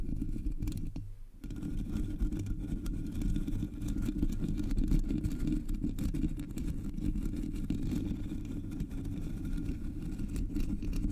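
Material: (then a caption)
Metal mesh. Long nails scratch the front and top of a Blue Yeti microphone's black hollow metal mesh grille. The sound is a dense, continuous, low rumbling scrape, heavy in the bass, with faint crackly detail above it. It dips briefly near the start and otherwise holds steady throughout.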